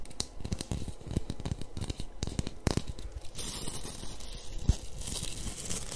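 Long nails and fingertips scratch and rub the dense white nylon bristles of a small pink plastic-handled scrub brush. The result is a steady, close crackling and tearing texture full of quick, dry ticks. The sound turns brighter and hissier in the second half, with a sharper snap near the end.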